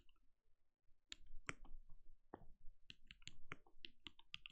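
A compact RGB-lit mechanical keyboard with a translucent plastic case and plastic keycaps, sitting on a desk, is typed on steadily with the bare fingertips of both hands. After about a second of near quiet, a stream of short, crisp key clicks begins, each with a deep thock underneath and a bright tick on top that stops almost at once.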